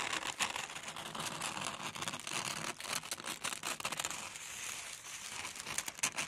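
Long brown-handled metal scissors slide along and cut a large flat sheet of red tissue paper lying on a table. Quick, bright snips blend with continuous crisp rustling and crinkling of the thin paper, with little low-end weight.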